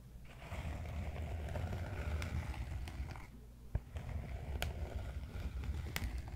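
A large solid cork yoga block, tilted beside a microphone, has its side scratched and tapped with fingertips. Steady, low, rumbling scratching fills most of the clip, broken by a brief lull and a few sharp, bright taps that die away almost instantly.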